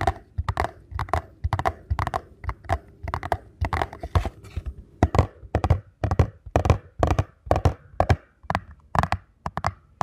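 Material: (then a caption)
Cardboard. Fingertips tap and scratch the face and the long narrow side edge of a small paperboard ankle support box. Irregular clusters of dull, low thuds with short, dry scratchy rasps follow one another quickly, each dying away almost at once.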